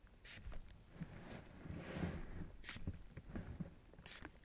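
A fingertip presses and rubs the air-filled bubbles of a large, clear plastic bubble wrap sheet from behind, with the sheet covering a lens. The sound is a quiet, mostly low, muffled rubbing and soft thumping, broken by a few short bright crinkling bursts.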